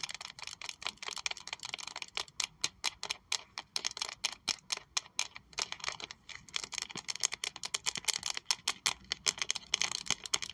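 Long acrylic nails tap on a small pink saffiano leather Prada wallet with a triangle plaque, held in both hands, striking both the leather and the logo. Many rapid, dry clicks follow one another in quick, uneven bursts. The sound is bright and high-pitched, with no low end and almost no ring.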